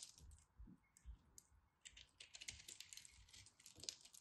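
A solid white and purple glittery pressed soap chunk is carved with a craft knife while held in the hand. Quiet, dry, bright scraping and crackling come in short bursts, with brief clicky ticks and pauses between cuts.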